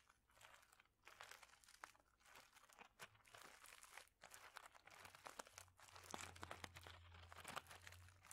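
A clear plastic bag of small mosaic tiles is crinkled and squeezed with fingertips, giving a dense, bright crackle of plastic with sharp little clicks and crunches from the tiles shifting inside. The crinkling comes in rising and falling bursts over a faint steady low hum.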